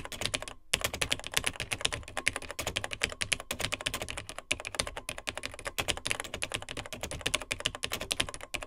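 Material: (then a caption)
Plastic. Fingertips of both hands type rapidly on the dark plastic keys of a beige plastic Tandy TRS-80 Model 100 vintage portable computer's built-in keyboard. Dense streams of short, bright plastic clicks and clacks run almost without pause, with only a brief gap near the start.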